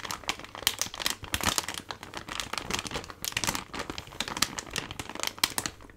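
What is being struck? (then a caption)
Plastic foil laminate drink-mix pouch. A medium-size Gold Kili ginger drink package, a flexible plastic and foil laminate pouch that appears full of sachets, is held in one hand and squeezed and crinkled with the fingers. The result is a continuous, dense run of bright, crisp crackles and crinkles with sharp peaks and very little low end. Each crackle stops almost instantly.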